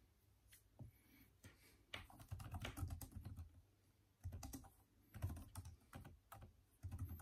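Fingertips of both hands type steadily on a backlit, plastic-key Microsoft Surface tablet keyboard. Quick bursts of soft, dull keystrokes with short pauses between them make a low, muffled patter of clicks and thuds, each dying away almost at once.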